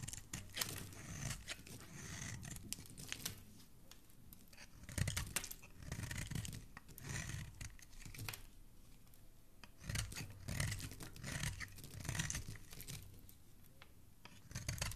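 A metal utility blade scrapes and shaves a solid white bar soap held by fingers with dark painted nails, and flakes fall away. The clip is quiet, with repeated soft, crisp scraping strokes that have a bright, crackly, tearing texture over dull low thuds, in bursts separated by brief lulls.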